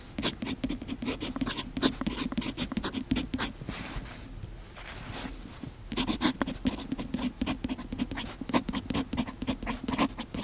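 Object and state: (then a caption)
Fountain pen nib scratching paper. A fountain pen's metal nib scratches across the page of an open paper notebook while writing, making a steady run of short, dry scratching strokes with a bright, papery edge. The strokes ease into a softer, quieter stretch near the middle before the brisk scratching resumes.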